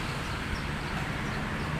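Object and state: Nothing is struck.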